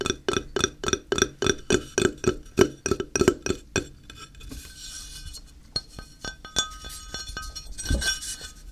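Fingertips tap on the face and edge of a flat, square, solid grey ceramic tile held in the hand. The first four seconds bring a quick run of bright, clinking taps with a short ring around a mid pitch. After that come sparser, softer taps and light scratchy rustling over a faint hiss.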